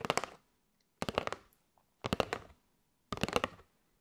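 Long light-grey nails tap on a flat kraft cardboard box with a clear window, full of paper straws and held in both hands. Four short bursts of quick, dry, crisp taps come about a second apart, each a cluster of several clicks with almost no ring and silence between.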